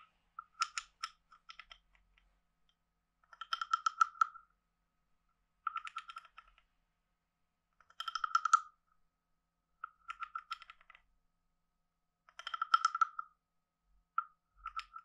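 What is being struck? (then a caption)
Carved wooden frog guiro scraped with a wooden stick. A wooden stick is scraped along the ridged back of a hand-sized, hollow, carved wooden frog guiro in a series of short strokes separated by pauses. Each stroke makes a quick, dry ratcheting burst of clicks with a woody, hollow tone around 1.3 kHz and bright overtones above it. The sound is quiet and has no low end.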